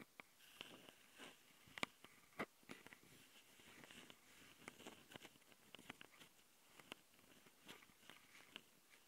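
Long painted nails of both hands scratch and tap the two X-Y mic capsule housings and top panel of a handheld plastic Tascam recorder. Quiet, bright, dry clicks and taps come through close to the mics over a soft, continuous scratching rustle. Each tap stops instantly, with no ring.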